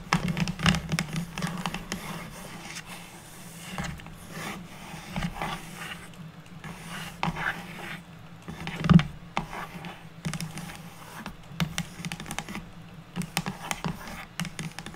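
Long natural nails tap rapidly on the top surface of a flat, square, unfinished light wooden board or box lid. The result is a steady patter of short, dry, hollow wooden clicks over a low tone, mixed with light scraping and a few louder taps.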